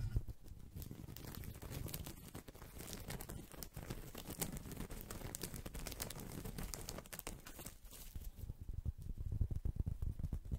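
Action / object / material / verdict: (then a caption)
scrape / small woven straw coaster / straw / none. A small, round, flat woven straw or rattan coaster, solid and thin, is held in one hand close to the microphone and scratched and tapped with fingertips and nails. The result is a dense, low-weighted stream of dry crinkly scratching and quick soft taps that stays steady and quiet throughout, with busier tapping near the end.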